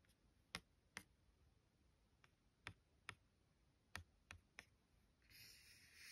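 Long gold-tipped nails and fingertips trace and scratch across a thin, solid card-stock greeting card with a mouse-and-bee illustration, lying flat on a stack of cards. Eight quiet, sharp, bright clicks sound at irregular intervals. The clip ends with a soft, hissy scratch across the card's surface.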